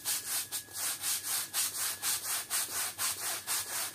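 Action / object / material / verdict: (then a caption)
scrape / woven textile rug scrubbed with a stiff bristle brush / textile / none. A flat, thin, patterned woven textile rug lying on a wet, muddy outdoor floor is scrubbed back and forth with a long-handled stiff-bristle push brush in muddy, soapy water. Steady, rhythmic, bright scratchy swishes repeat about twice a second, each a hissy rasp with almost no low end.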